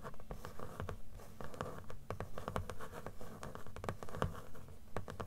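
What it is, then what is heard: Paper book page edges. Long nails scratch and tap along the paper page edges of a closed blue book, a solid stack of paper. Quick, irregular dry taps with dull low thumps sit over a continuous scratchy rasp, each tap dying away almost instantly.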